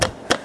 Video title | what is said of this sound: Nissan almera masalah leaking gear oil dan bunyi dibahagian undercarriage | Bunyi ketukan ni bukan daripada sini, daripada shaf tengah stering re ni